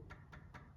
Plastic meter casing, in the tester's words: you can hear when you knock, you can hear it's different.